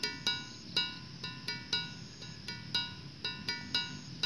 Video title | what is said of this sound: Situs Megalitikum Gunung Padang - Pusat Peradaban Dunia Ada Disini??? | cukup nyaring kan dan yang lebih keren lagi batu ini adalah alat musik yang pertama